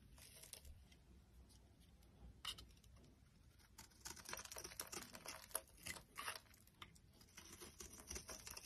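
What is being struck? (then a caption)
Bar of soap cut with a knife blade. A solid, dry, cream-white oval bar of soap is shaved with a metal utility knife blade. Soft, bright scraping and crisp carving strokes come in quick, uneven bursts, growing denser and louder in the second half.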